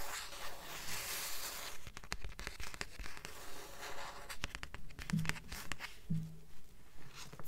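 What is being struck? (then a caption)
Paperback book with paper cover. Long nails tap and rub the paper cover of a thick blue paperback book held upright above a stack of books. The result is a quick, fairly steady run of dry, soft taps mixed with scratchy rubbing, with no ring after each tap.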